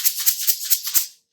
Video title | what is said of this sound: Early Childhood Songs | when I shake them, it sounds like our eggs at school, like our shaker eggs